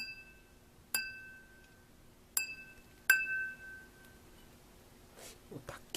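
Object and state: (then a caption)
Crystal wine glass, clear long ring. A crystal wine glass is tapped by hand three times, each tap giving a bright clink that rings on as a clear tone around 1.5 kHz with higher overtones, followed by faint handling noises. The crystal rings deep and clear, unlike ordinary glass, which does not ring long.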